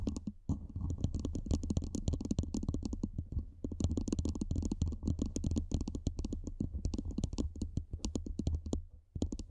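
Long manicured nails tap and scratch the sides of a hollow, black cylindrical metal microphone body mounted above a foam windscreen. A rapid, steady stream of soft clicks and scrapes carries a deep, boomy low thump under each tap, with faint bright ticks on top. There are brief pauses near the start and end.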